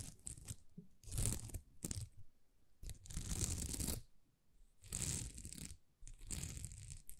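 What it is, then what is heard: Plastic rhinestone sticker sheet. Long nails scratch across a thin, flexible plastic rhinestone sticker sheet covered in small plastic rhinestones. Several bursts of dry, crackly scratching come and go with short pauses between them, each carrying a bright, hissy top over a soft low rumble.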